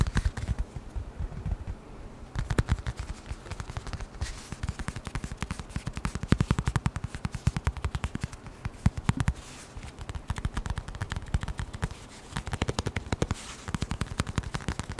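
A small, flat brown leather wallet, held in both hands, is tapped quickly with the fingertips. Dense bursts of soft, dull, low thumps run through the whole clip, broken by brief pauses. Each tap dies away at once.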